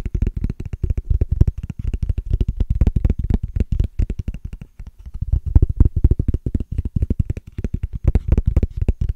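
Fingernails scratch and tap rapidly across a small, hollow, transparent plastic case with a ridged texture. The result is a dense stream of short, dry, clicky ticks with a low, thumpy body, plus faint bright edges, and brief pauses in between.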